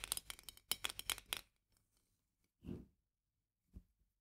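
Long nails tap quickly on the upper glass shoulder and lid edge of a full glass jar of marmalade with a paper label, held upright. The result is a rapid burst of bright, clicky taps that stop short. After a pause come a softer, duller tap and a brief final knock.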